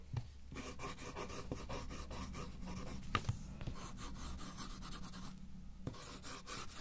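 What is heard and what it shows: A wooden coloured pencil held in the fingers shades quickly across a thin white sheet of paper lying flat on a white table, filling in a pink drawing. Fast, dry scratching and rubbing strokes rasp across the paper in a continuous run, with short pauses between bursts over a steady low hum.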